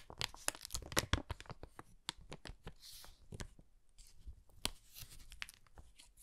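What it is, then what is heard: Empty kraft paper bag being crinkled. An empty brown kraft paper bag with handles is held in both hands while fingertips rub and crinkle its flat surface. Dry, sharp crackles and crisp tearing-like rustles come in quick bursts over a soft low rumble, with brief bright hissing swells between them. Each crackle stops almost instantly.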